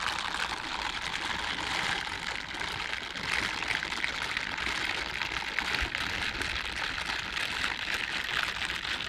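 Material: Silicone.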